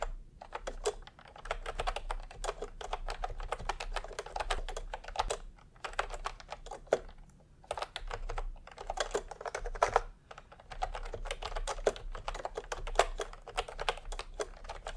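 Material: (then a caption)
Plastic. Fingertips of both hands type continuously on a full-size pastel plastic typewriter-style keyboard with round plastic keycaps in a hollow plastic case. Dense, rapid plastic clicks and clacks with a mid-range focus come in bursts with brief pauses, each tap dying almost instantly over a steady low hum.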